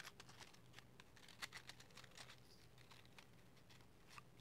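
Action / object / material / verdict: tap / small cardboard matchbox of wooden matches / cardboard / none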